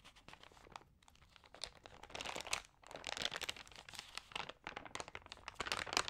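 Hands with long nails rub and turn the damp, crinkled thin pages of an open, water-sprayed thin paper magazine. The result is a dense stream of crisp crinkling and crunching rustles, bright and high in tone with almost no low end, swelling in louder bursts as the pages are handled.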